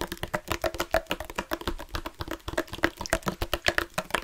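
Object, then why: Plastic sports water bottle with water inside. A dark plastic sports water bottle with a loop cap, hollow and partly filled with water, is held up and tapped and scratched with fingertips and nails. About thirty quick, dry taps and scrapes come in a rapid, uneven patter, each with a short hollow plastic tone around 600 Hz that dies almost instantly.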